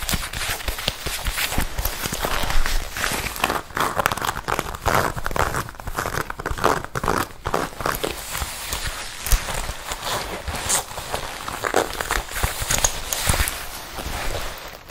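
A worn red leather biker jacket is scratched and tapped on the chest and shoulder with long red nails. The result is a dense run of soft crinkling scratches and light taps over 15 seconds, with quick-decaying hits and a low rumble underneath.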